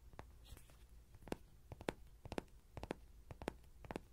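A small yellow soft-vinyl Rody horse toy, seemingly hollow and held in the hand with a pin mic clipped to its ear, is tapped and scratched on the body with short fingernails and fingertips. Quiet, dry clicks and hollow little knocks come in loose pairs and clusters over a faint low rumble. Each tap dies away instantly with no ring.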